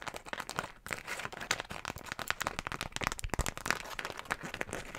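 A single floral beeswax food wrap, a thin, stiff sheet of wax-coated cotton, is crumpled and squeezed in both hands with long nails, held beside the microphone. It makes a dense, steady stream of quiet, sharp crinkles and crackles with a bright, papery edge and almost no ring after each snap.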